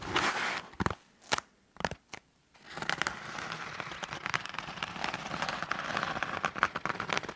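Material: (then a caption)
EVA foam. Fingertips and nails scratch along the textured surface of a blue EVA foam exercise roller, a solid foam cylinder about 45 cm long held at an angle. A short burst of dry, crackly scratching is followed by a few separate quick strokes with near-silent gaps. Then a steady, dense run of crinkly, bright scraping continues to the end, centred in the mids.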